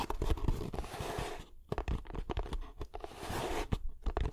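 Fingertips tap and scratch the top of a hollow kraft cardboard box held horizontally above the microphone. Dull, low, hollow thumps mix with crunchy, papery scratching. The taps die away almost at once.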